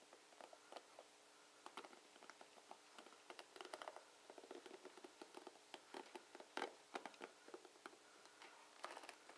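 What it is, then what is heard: Plastic paddle hairbrush. Fingertips of a hand wearing a ring rake and flick across the bristle tips of a dark plastic paddle hairbrush with plastic bristles, held over a wooden table, with the ring possibly touching the brush now and then. The result is a quiet stream of short, crisp, bright clicks and scratchy patters in irregular bursts, each dying away almost instantly, over a faint steady hum.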